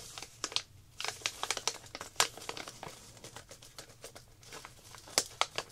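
Long black nails and fingertips crinkle and handle a small clear plastic zip-lock packet holding a few round coloring tablets. The result is a quick run of dry, bright crackles and crinkles with sharp, short snaps and almost no low end.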